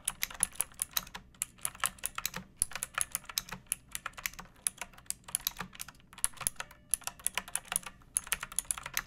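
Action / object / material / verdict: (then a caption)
tap / plastic mechanical keyboard / plastic / none. A pink plastic mechanical keyboard with round backlit keycaps and a hollow body, resting on a wooden surface, is typed on with long painted nails and fingertips. Quick, bright, clicky keystrokes come in rapid, uneven bursts with short pauses, each tap dying away almost instantly over a faint low hum.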